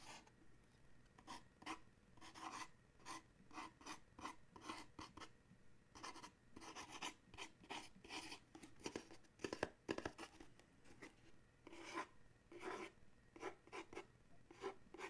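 Fingernails scratch and rub along the printed panels of a small paperboard coffee mug gift box. A steady run of short, dry, papery scrapes comes in quick, uneven bursts, each with a bright rasping edge, and dies away almost at once.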